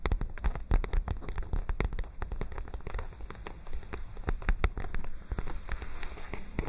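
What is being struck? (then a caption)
Paper notebook pages tapped and scratched with fingernails. Long nails rapidly tap and scratch the pages of a white paper notebook that is held open and curved in both hands close to the microphone. The result is a dense stream of short, crisp clicks and papery crackles over a close, low thumpy body, with loudness rising and falling in quick clusters.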